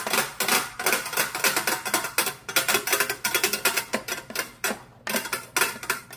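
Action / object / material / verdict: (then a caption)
tap / flat round glass mirror / glass / none. Long pointed metal claw finger caps on both hands tap rapidly across a flat, solid, medium-sized round glass mirror lying on a wooden table. The taps make a steady stream of bright, sharp clicks with a glassy ring that dies away almost at once, some landing in quick flurries and others spaced apart.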